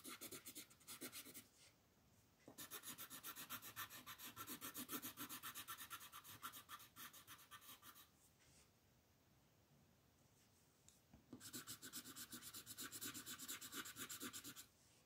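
An orange colored pencil scratches and rubs across a flat white paper mandala coloring sheet while shading its petals. Three bursts of fast, bright, raspy back-and-forth strokes, about four per second, are separated by quiet pauses.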